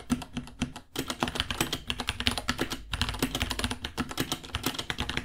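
Fingertips of both hands type steadily on a white 66-key mechanical keyboard with Gateron Brown switches, plastic keycaps and pink underglow, about 30 cm long with a hollow case, resting on a white desk. The result is a rapid stream of sharp, bright clacks with a hollow low thump under each keystroke, broken by brief pauses just before the 1 and 3 second marks.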